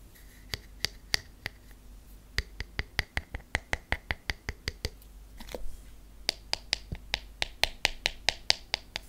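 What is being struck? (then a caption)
Wooden hairbrush with wooden pins. Fingernails tap the wooden body of a hairbrush with wooden pins, producing quick, dry, bright clicks in steady runs separated by short pauses. Midway, the nails scratch across the wooden pins, giving a brief rough, hissy rustle before the crisp tapping resumes.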